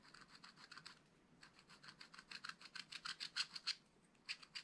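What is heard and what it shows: A wooden stylus scratches fine hatching into the black-coated card of a flat, spiral-bound scratch-art pad. Quick, quiet, bright scratching strokes come in bursts, with brief pauses near the start and end.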